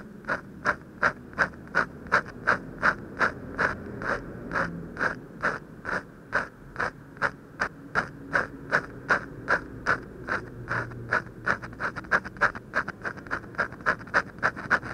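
A hand scratches quick vertical strokes with a ballpoint pen on a large, thin white sheet of paper taped to a wooden desk, working near the drawn lips. About 48 short, dry scratches come in a steady rhythm of nearly three per second, each a bright, papery rasp centered in the upper midrange with a faint low rumble underneath.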